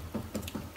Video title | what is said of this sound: Hide Glue & Hammer Veneering with Jim Russell | you're listening for hollow sounds a hollow sound would indicate that there is a bubble underneath there